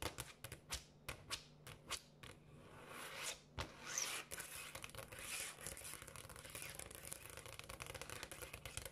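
Long acrylic nails on both hands tap and scratch quickly across a large, solid, polished granite countertop. Crisp, separate clicks at the start give way to bright, swishing scratches. The sound then settles into a dense, rapid patter of taps over a faint, steady low hum.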